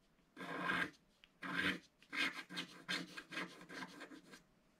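A wooden stylus scratches the lower right area of a black coated scratch-art card in a book. Nine dry, raspy scratching strokes are heard, the first two long and the rest shorter and quicker, with a bright, papery hiss and brief quiet gaps between them.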